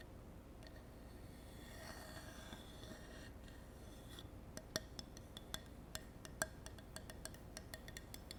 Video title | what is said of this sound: 10 ASMR TRIGGERS For TINGLES and SLEEP 😴 | I'm quite a fan of wood tapping. It sounds like a horse. Clippity clop.